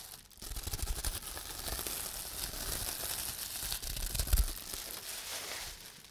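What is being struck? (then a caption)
Plastic bubble wrap sheet. A sheet of clear plastic bubble wrap is held in the hands while fingertips squeeze and pop its air bubbles and crinkle the sheet. The result is a steady, bright crinkling and crackling with dull low thumps, and one louder pop stands out near the end.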